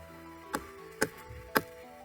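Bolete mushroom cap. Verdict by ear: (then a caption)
Firm. Three short, dry knocks sound as the cap of a large Boletus loyo mushroom is tapped, each dying away almost at once over a faint steady tonal background. The tapping shows how firm and turgid the cap is, not to release spores, and the mushroom was collected to cook.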